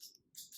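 A bottle of lip stain is shaken, giving quick, faint, high-pitched rattling clicks with almost no low end. Two bright bursts, one at the start and one about halfway through, show the shake.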